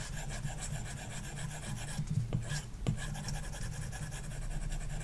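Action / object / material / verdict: scrape / plastic stylus on glass tablet screen with matte film / glass / none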